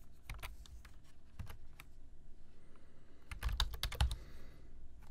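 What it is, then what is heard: Plastic computer keyboard being typed on. Fingertips type on a black plastic computer keyboard, tapping the keys in quick, irregular bursts. Short, dry clicks carry a soft low thud, with a quieter pause midway before a denser, louder flurry of keystrokes near the end.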